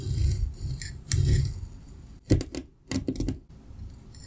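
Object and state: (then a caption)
Kinetic sand being sliced. A metal pizza cutter wheel slices through a solid, dense green block of kinetic sand resting on a white surface, the sound coming from the sand itself. Soft, muffled low crunching swells come first, followed by a run of sharper, gritty crackles and scrapes with bright edges as the wheel cuts deeper, then a quieter rustle.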